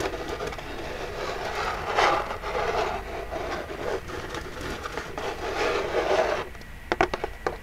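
Long jeweled nails scratch and rub across the front of a small, hollow, printed Birchbox cardboard box, making a steady, papery mid-range scraping that swells and fades in waves. Near the end the scratching drops away and a few sharp, dry taps on the box stand out.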